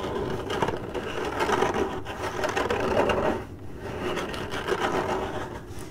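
Long acrylic nails on both hands scratch fast across the hollow side of a printed corrugated cardboard box. The result is a dense, continuous papery rasp with a hollow mid-range tone around 375 Hz. It eases briefly near the middle before picking back up.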